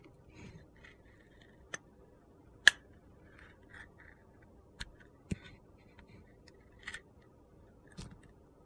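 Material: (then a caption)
Soap. A utility knife carves slices from an orange soap bar with a purple glitter crust, making soft, gritty scraping strokes. Sharp, crisp clicks stand out between them, with the loudest at about 2.7 seconds. The sound is quiet, dry and high-pitched, with little low end.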